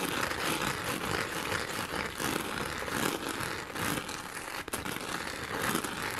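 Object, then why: Plastic rhinestone sheet. Long nails quickly scratch and tap a pink plastic rhinestone sheet held by its top edge. The result is a dense, continuous, bright crackling scrape with fast clicky taps at a steady level, broken only by a brief dip near the end.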